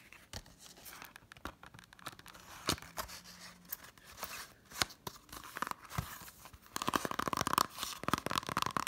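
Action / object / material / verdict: tap / plastic Blu-ray case in a cardboard slipcover / cardboard, plastic / none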